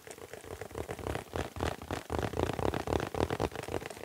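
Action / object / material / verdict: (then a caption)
tap / mylar foil balloon / mylar foil / none. A small, round, printed foil (mylar) "Happy Birthday" balloon on a stick, hollow and air-filled, is held in both hands close up and tapped and scratched with the fingertips. The result is a quick, uneven run of soft, hollow thumping taps, about four per second, blended with a crinkly, papery scratching that rises slightly in loudness as it goes.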